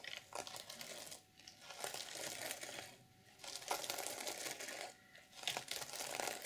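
Long purple nails scratch across the black and silver plastic sequins of an open reversible sequin fabric journal cover, flipping them over. The result is a bright, dense crinkling and rattling that comes in long sweeps separated by brief, quieter pauses.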